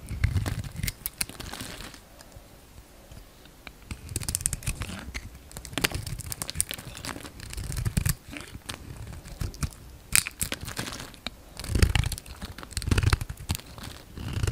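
A solid, palm-sized pink bar of soap with glitter specks is held in the hand and peeled and shaved with a yellow utility knife blade. Flaky cutting and scraping strokes crackle and crinkle in dense bursts with a low, thumpy body and bright, crisp edges, pausing briefly between cuts.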